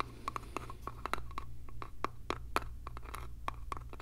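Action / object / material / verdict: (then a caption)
tap / small light-wood box with a metal hinge / wood / none. Fingernails scratch and tap the sides and edges of a small, hollow, light-wood box with a metal hinge, held in the hands. Quick, dry clicks with a short woody ring around 1.3 kHz come in an irregular patter over soft scratching. A steady low hum runs underneath throughout.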